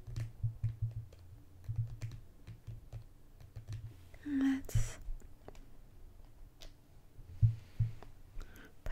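A small mint-green plastic cosmetic squeeze tube with a cap, appearing filled, is held upright and then sideways while long green-painted fingernails tap and click on it rapidly. The result is an irregular run of soft, dull, low taps with short, sharp clicks and a brief hissy swell partway through.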